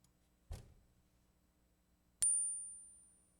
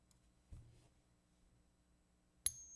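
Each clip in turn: First: copper-nickel clad quarter, not silver. Second: genuine silver quarter.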